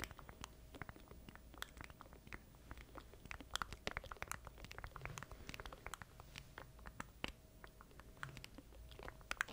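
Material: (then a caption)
Plastic. A small black plastic stream deck controller is held in both hands close to a microphone while fingertips tap and scratch its keys and casing. The result is a quiet, dense, irregular run of dry, bright plastic clicks and soft scratching, with each tap dying away almost instantly, over a faint low rumble and a faint steady tone.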